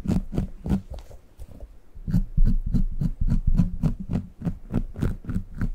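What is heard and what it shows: A small brown, bumpy, soft and solid rubber squishy dog toy is held next to the microphone and squeezed and scratched with the fingertips. Many quick, soft, low squishing taps come in an uneven, fast rhythm, with faint bright scratchy edges on each one.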